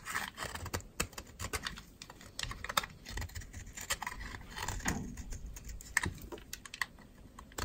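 A metal utility knife blade scrapes dry shavings off a solid pink bar of dry soap held in a hand with long red nails. Quick, crisp scraping strokes follow one another in a steady run, each a short, dry, bright crackle with almost no ring, over a soft low rustle.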